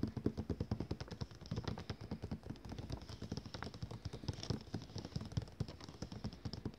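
A ringed hand taps rapidly with fingertips and nails on the cover of a thick glossy paper catalogue lying closed and flat on a table, its solid stack of pages beneath. The result is a fast, steady run of short, dull, low-pitched taps that die away almost instantly, with a faint papery click on some strikes.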